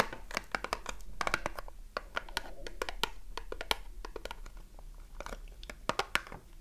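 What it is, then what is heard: Cardboard soap box. A small closed cardboard soap box is turned in the hands while long nails tap quickly across its faces and edges. Rapid, sharp, dry clicks with bright tops die away almost instantly, over a soft papery rustle and scratch from handling.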